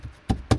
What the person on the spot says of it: knock test and you can hear that it has changed its tone